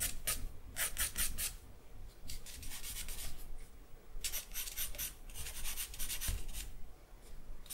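A thin charcoal stick is scratched across a sheet of white drawing paper in line strokes. Clusters of dry, bright rasping scrapes come in quick bursts with short pauses between them, over a faint low rumble.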